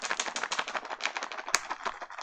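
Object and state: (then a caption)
Dry loofah gourd, seeds rattling. A dried loofah gourd is shaken, and the seeds inside rattle like a maraca in a fast run of dry, bright clicks, with one sharper snap near the end. The rattle shows the gourd is fully dehydrated and ready to peel.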